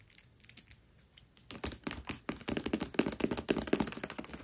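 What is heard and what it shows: Long nails rapidly tap and scratch the glossy paper dust jacket over the cover of the hardcover book "Tress of the Emerald Sea," which lies flat. Sparse, quiet clicks and scratches give way after about a second and a half to a denser, louder run of short, dry taps with a bright papery crinkle.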